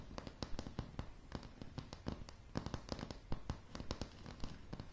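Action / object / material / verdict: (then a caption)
tap / wooden floorboards / wood / none. Long polished nails on both hands tap rapidly and irregularly on a light, solid wooden plank floor. Each tap gives a short, dry click with a low thud beneath it and dies away almost instantly over a faint steady background hiss.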